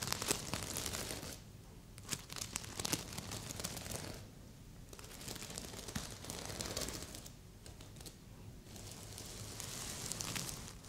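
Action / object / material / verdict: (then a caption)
scrape / sequin-covered stuffed pillow / plastic sequins / none. Fingertips and long nails scratch and brush the red plastic sequins on a medium, soft stuffed heart-shaped pillow. A steady crinkly, bright rustle comes in uneven bursts of quick clicking scratches, with quieter brushing passes in between.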